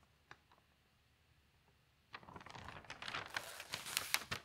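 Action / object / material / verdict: scrape / newsprint newspaper pages / paper / none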